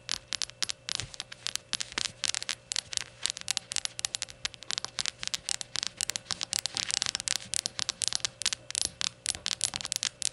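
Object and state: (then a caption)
Glazed ceramic shot glass. Long nails tap and scratch the glazed surface of a small, hollow, empty rainbow ceramic shot glass as it is held and set down. Dozens of rapid, bright, high clicks and scrapes come in quick irregular bursts, each dying almost instantly with no ring. A faint steady low hum sits underneath.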